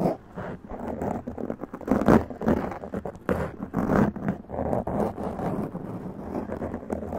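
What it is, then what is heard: Foam microphone windscreen being scratched. Long press-on nails scratch quickly over a black foam windscreen on a large condenser microphone. The result is a dense, continuous, rough scraping and crackling, mostly low and mid in tone with little brightness. Its loudness rises and falls in irregular bursts, peaking around the two- and four-second marks.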